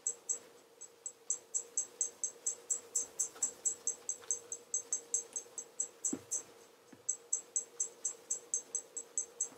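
A black leather REGAL tassel loafer is held in one hand while its toe is rubbed with a blue flannel cloth over the fingers for a mirror shine. About 38 quick, bright, squeaky rubbing strokes repeat over a faint steady low hum, with a brief pause before the strokes resume.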